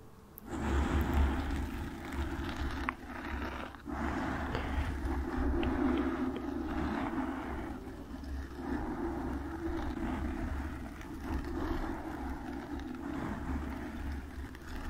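Long nails scratch a black foam microphone windscreen, making a continuous, close, rustling scrape. A steady low hum sits underneath from start to finish, and the scratching starts abruptly after a brief quiet moment, with a few short dips along the way.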